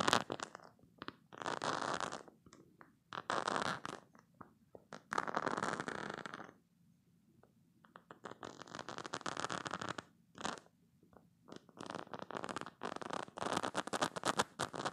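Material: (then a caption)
Silicone. Short green-painted nails scratch and rub the nubs of a green spiky silicone squeeze toy up close. Bursts of dry, crackly scratching and squeaky rubbing come and go, with quiet pauses between them.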